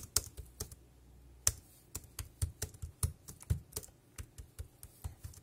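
Fingertips type on a dark grey plastic wireless keyboard with round keys, tapping out a quick, uneven run of keystrokes. Each press is a short, dry click with a low thump and a bright tick, dying away almost at once.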